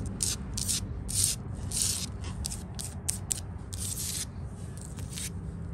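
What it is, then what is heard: Painted wooden porch handrail being scratched and tapped. Long fingernails tap and scratch along the top rail of a white-painted solid wooden porch railing with balusters. Short, irregular bursts of bright, hissy scraping sit over a steady low rumble, with two sharper taps standing out near the end.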